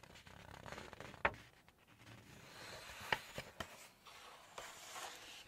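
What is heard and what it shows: A close, airy rustle of nails scratching a smooth page, broken by three sharp dry clicks where the nails catch and flick the edge. Nothing rings. The quick, bright crackle is typical of stiff glossy paper in a large book.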